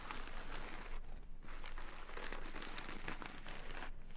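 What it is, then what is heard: Burlap sack of rice. Long nails scratch and tap the woven surface of a small, full burlap jute sack of brown basmati rice lying on a table. The result is a steady, dense crinkling and rustling texture with a low, bassy body and brief dips between strokes.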